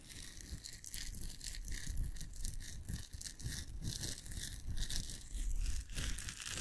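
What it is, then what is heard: Nylon mesh bath pouf. A blue nylon mesh shower pouf is crumpled, stretched and scrunched between the fingers close to a microphone. The result is a continuous, dense crinkling and scratchy rustle with bright, airy bursts over a heavy low-end rumble from handling, swelling and easing without a break.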